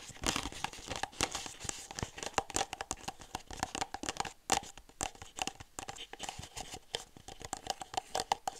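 An empty red disposable plastic party cup, hollow and thin-walled, is tapped and squeezed with long silver nails. Dense, rapid clicks and crinkly, crackling plastic sounds fill the clip, with a bright, papery texture and a recurring hollow tone around 790 Hz.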